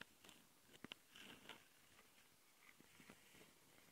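Long nails scratch the metal mesh grille microphone capsules and the top of a black plastic Tascam handheld recorder. The result is quiet, bright, crackly scraping with several sharp clicks and short gritty strokes over a faint hiss.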